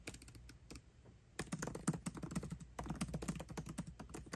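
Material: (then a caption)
Plastic. Both hands type fast with their fingertips on the backlit black plastic keycaps of a 13-inch aluminium MacBook Pro keyboard, making a continuous stream of quick, clicky taps. Brief clacks overlap with an irregular rhythm, going quieter in the first half and then denser and louder.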